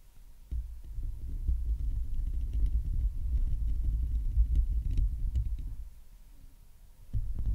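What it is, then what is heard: Metal microphone grille being scratched and tapped. A Blue Yeti USB microphone on a stand has its hollow metal mesh grille scratched and tapped by long painted nails and the fingertips of both hands. It makes a deep, throbbing rumble of close handling noise, with faint brighter ticks scattered on top. The sound swells after a quiet start, dips near the end, then returns.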